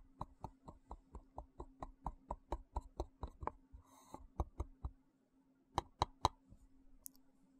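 A small, hollow, translucent frosted plastic box held in one hand is tapped with the fingertips and nails. The taps come in a quick, steady run of short, dry clicks with a hollow knock centered near 1 kHz, over a faint low hum, broken by a brief bright scratch. After a short pause, three louder taps follow.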